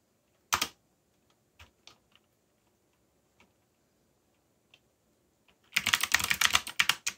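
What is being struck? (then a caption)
Mechanical keyboard with plastic keycaps. Fingertips press keys on a backlit mechanical keyboard with black plastic keycaps. A single sharp, bright clack is followed by a few scattered soft taps. Then a fast, dense burst of clicky keystrokes runs to the end.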